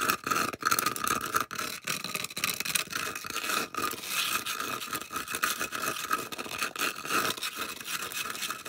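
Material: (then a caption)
Polystyrene foam. Long acrylic nails rapidly scratch and tap along the side edge of a solid, round white polystyrene foam disc held edge-on. The result is a dense, continuous run of squeaky, bright scraping with quick taps, a steady squeal near 1.4 kHz and almost no low end.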